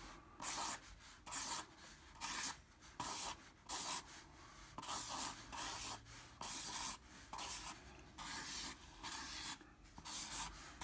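A black felt-tip marker held in the fingers scribbles across a flat 9x12 in. medium-surface drawing paper sheet lying on a table. About 13 separate strokes are heard as bright, hissy scratching bursts, each rubbing the felt tip across the paper, with short quiet gaps between them.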